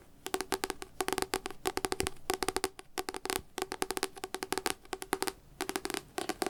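Fingertips tap rapidly on a devotional paper book in quick rolling bursts separated by brief pauses. Each tap is a short, dry knock with a hollow mid tone around 375 Hz and a crisp, bright click that dies away almost instantly.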